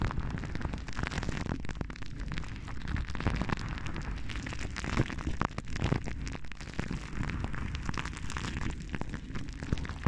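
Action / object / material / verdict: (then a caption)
scrape / metal wire-mesh microphone grille / metal mesh / none. Long painted nails of both hands scratch and rub the hollow metal wire-mesh grille of a large silver microphone. The result is a steady, dense crackle of rough scraping and popping with a heavy, boomy low rumble and occasional sharper bursts throughout.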